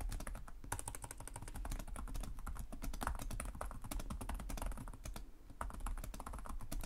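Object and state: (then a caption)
Plastic laptop keyboard. Both hands type rapidly with short-nailed fingertips on the plastic chiclet keys of a black laptop resting on a desk. The result is a dense, continuous stream of short, crisp key clicks over a steady low hum.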